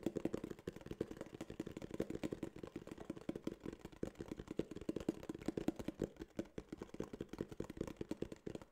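Fingertips tap and scratch a small, hollow tan kraft cardboard case in quick, dense bursts for about nine seconds. The hits are dry, hollow thumps centered in the low-mids, with almost no ring and very little high-end content.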